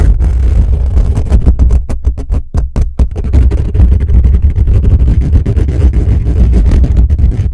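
Fingertips and nails scratch fast across the hollow metal mesh grille of a black condenser microphone, up close at the top of the grille. The result is a dense, continuous stream of rapid scratchy bursts over a heavy, boomy low rumble, easing briefly near the middle before resuming just as busy.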